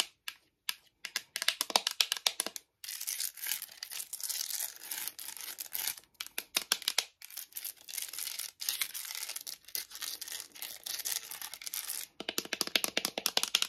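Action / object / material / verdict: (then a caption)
tap / glass-fronted picture frame with gilded edge / glass / none. Long decorated acrylic nails quickly tap and scratch across the glass front and raised edges of a small ornate gold-painted picture frame holding a dog photo, lying flat on a wooden table. Rapid bursts of sharp, bright clicking alternate with longer stretches of dense, hissy scratching, all high and thin with no low end. Each tap stops dead with almost no ring.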